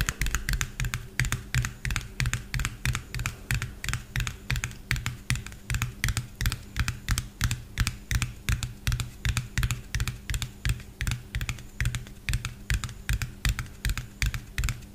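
Fingernails tap quickly on the body and cap of a small, hollow white plastic bottle with a yellow cap. The result is a steady stream of short, irregular clicks, each with a low hollow thump underneath and a bright crisp top that dies away almost at once.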